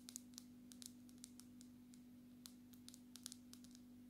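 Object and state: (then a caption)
Glass-backed smartphone. A black glass-backed smartphone, held sideways near the face, has its glass surface tapped with long natural nails. The result is a quick, irregular series of crisp, bright clicks that die away almost instantly, over a steady low hum.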